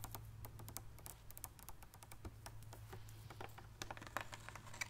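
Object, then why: Partly filled plastic water bottle. A large clear plastic water bottle, partly filled with water, is held close to the mic and tapped and scratched with long painted nails. A quick, uneven stream of light, bright clicking taps and scratches with short crisp decays plays over a steady low hum.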